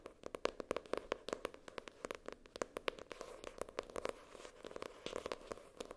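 Long nails tap and scratch the floral-printed paper or cardboard cover of a notebook lying flat. The result is a quick, irregular run of short, dry clicks with a papery tone around 500 Hz, mixed with softer scratching between the taps.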